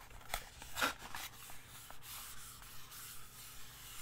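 A small, hollow, printed purple-and-white cardboard box, likely holding a candle, is held in the hand and tapped and scratched with long nails and fingertips. Soft, dry rubbing and scratching fill the clip, broken by a few brief, brighter taps with almost no ring.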